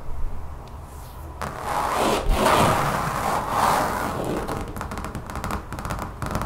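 Long fingernails of both hands scratch and tap across a large, solid, brown textured rubbery mat lying on a table. A dense, hissy scraping swells and fades through the middle of the clip, then gives way to quicker, lighter clicking taps over a low, dull rumble.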